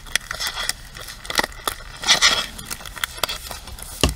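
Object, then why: Plastic paddle hairbrush. Long nails tap the rim, handle and bristle pins of a pink plastic paddle hairbrush. The result is a quick, uneven series of sharp, bright plastic clicks that stop almost instantly, with a brief scratchy rattle in the middle and a louder tap at the end.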